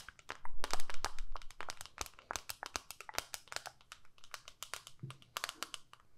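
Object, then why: Small plastic eyeshadow palette lid. Long nails tap and scratch the pinkish clear lid of a small, flat plastic eyeshadow palette held up close. A dense run of quick, crisp plastic clicks with bright, short ticks and brief scratchy rubs, louder and scratchier in the first second. The taps then continue at an uneven pace, lighter and drier.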